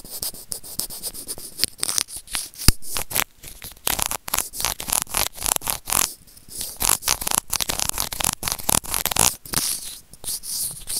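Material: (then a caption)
Plastic. White plastic tweezers scratch and rub a small, hollow white plastic earphone remote with a built-in mic. A rapid, uneven run of close, bright scratching and crackling scrapes follows, each stroke short and dry, with little low-end body.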